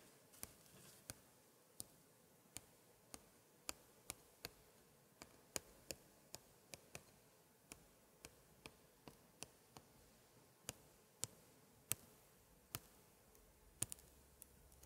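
A gloved hand taps and traces a thin pointer stick on the flower picture of the left page of an open 1880s scrapbook, whose thick paper pages hold glued chromo scraps. About 28 sharp, very short, bright ticks land at irregular intervals over a faint, quiet background.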